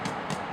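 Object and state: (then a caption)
Hollow-sounding baked bread loaf, cooked through. A freshly baked bread loaf, tipped out of its tin, is tapped on its bottom three times, giving soft, hollow, low thuds. The hollow sound means most of the moisture is out and the loaf is fully cooked all the way through.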